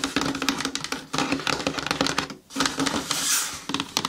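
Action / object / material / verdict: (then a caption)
tap / cardboard shoe box / cardboard / none. Long nails and fingertips tap and scratch the lid and sides of a closed brown cardboard shoe box with a lid, sitting on a table, hollow and holding shoes, while it is held at its sides. Quick, dry, bright clicks and scratchy rustles come in dense bursts over a faint hollow tone near 280 Hz. There is a brief pause around the middle before the tapping resumes.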